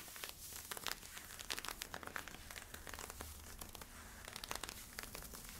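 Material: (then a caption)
Polyester-spandex. Fingertips and nails scratch worn camo polyester-spandex stretch leggings at the waistband and side. Quick, bright, dry rasping strokes follow one another in a steady crinkly stream over a faint low hum.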